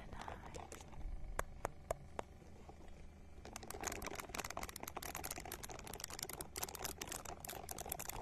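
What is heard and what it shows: A small, hand-sized purple silicone ball held close to the microphone is scratched with long nails. A few quiet scrapes and four sharp, dry clicks come first, then dense, rapid, crackly scratching with a bright, crisp edge fills the rest of the clip.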